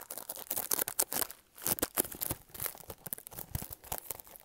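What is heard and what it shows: Fingernails scratch and tap on a small, hollow pink printed cardboard product box held upright close to the mic. Dry, crackly scrapes mix with sharp, quick taps that cut off almost instantly, bright with papery texture and little low end.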